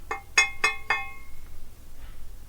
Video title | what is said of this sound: Acoustic Steel - the Basics | you can hear it ringing. Rings like a bell.